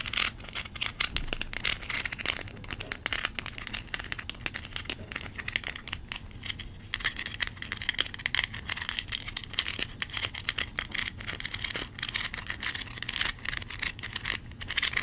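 Long nails scratch along the kernels of a small, yellow, textured plastic corn cob toy that looks hollow. The result is a dense, bright, crackling stream of rapid dry ticks and rasps that keeps a steady level throughout, with little low end.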